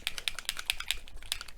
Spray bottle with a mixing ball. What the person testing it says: you want to shake it can you hear that ball rattling that's what you're aiming for